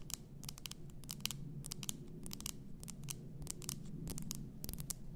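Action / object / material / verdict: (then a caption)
tap / glass bath salt bottle / glass / none. Long nails tap and scratch the upper glass above the label of an upright, full glass bath salt bottle. The result is a quick run of short, bright clicks, with a pitch around 3 kHz and almost no ring, mixed with light scratchy scraping. A steady low hum sits underneath throughout.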